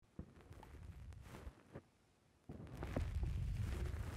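Fingertips press and squish the top and side of a black rounded foam windscreen on a microphone, producing deep, muffled thumps and rubbing crackles. The squishing pauses into near silence for a moment, then returns louder and denser as a continuous low rumble.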